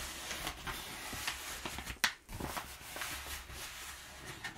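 Fingertips and nails rub and scratch crumpled brown kraft packing paper at the edge of a table. A steady, bright crinkling rustle is broken by a few sharper crackles, the loudest near the middle, with almost no ring after each.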